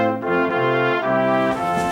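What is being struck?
Nothing is struck.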